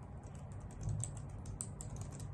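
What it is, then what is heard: Plastic computer keyboard. Long nails and fingertips type rapidly on a white full-size plastic computer keyboard with hollow key caps. Quick, bright, light clicks and taps run continuously over a steady low hum.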